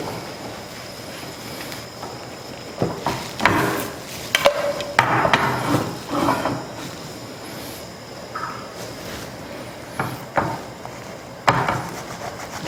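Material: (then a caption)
Flour tortilla. A cook taps a Korean beef quesadilla with a flour tortilla in a pan, making a series of dry, crackly taps in two clusters over a steady low hiss. The crisp sound shows the tortilla has browned, and the quesadilla is done.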